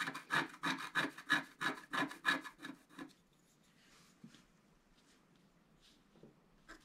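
A thin wooden stylus scratches the black coating on the antler area of a flat, thin, solid scratch-art card about A4 size while the other hand holds the card. A quick, regular run of dry, raspy strokes with a bright edge lasts about three seconds. It then drops to near silence with only a few faint, soft scrapes.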